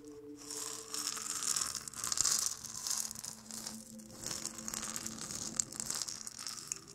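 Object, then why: Dried gourd maraca with seeds. A single small, round, hollow maraca made of dried gourd, painted and carved, with a dark wooden handle, is held in the hand close to the microphone and shaken so the seeds inside rattle. The result is a bright, dry, hissing rattle that swells and fades in repeated waves of shaking, with almost nothing in the low end apart from a faint steady hum.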